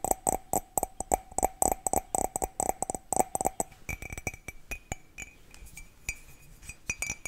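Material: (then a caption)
Ceramic. A hollow, empty white ceramic mug with a red and blue print is tapped quickly with long nails on its sides and rim. For about the first four seconds, rapid clicky taps carry a clear mid-pitched ring. After that the taps turn lighter, more scattered, and brighter, with a higher ping.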